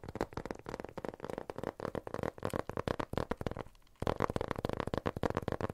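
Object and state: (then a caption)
Cardboard box, tapped. A small, empty-looking rectangular cardboard box, printed white and blue with a barcode label, is held in both hands and tapped and scratched with fingertips and nails. Rapid, dry, hollow taps with a mid-range knock and almost no ring fill the clip. A brief lull comes just before the four-second mark, then louder tapping resumes.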